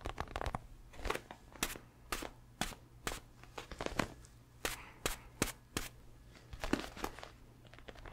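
Fingertips tap and scratch the surface of a red, padded boxing glove of leather or synthetic leather, hollow inside and held close to the mic. Sharp, bright taps land in an irregular rhythm between softer crinkly scratching, each dying away almost at once over a faint steady low hum.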